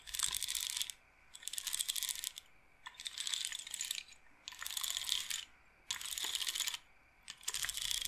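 Fingertips and nails roll the wooden beads of a wooden bead roller massager set in a wooden bead frame. Six bursts of dense, rapid clicking and rattling come in a row, each about a second long with short quiet gaps between them. The sound is bright and crisp, with almost no low end.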